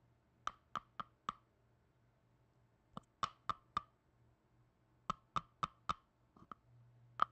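Black-gloved fingers tap and click a small red plastic tub with a lid while it is opened and closed. Dry, hollow knocks come in quick groups of four, with a mid-pitched tone and almost no ring, over a faint low hum. A couple of softer clicks and one louder final knock close the sequence.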